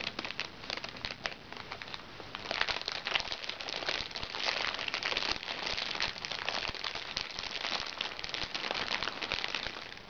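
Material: Plastic.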